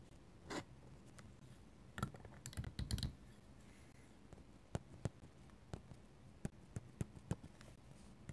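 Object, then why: Paper sketchbook page under a metal-nib pen. A metal-nib dip pen scratches lines on a paper sketchbook page. Quiet, dry scratchy strokes come in short bursts early on, then give way to sparse, sharp little ticks of the nib against the paper over a low, steady background hush.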